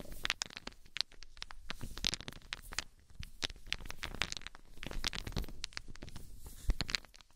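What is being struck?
Small wooden balls.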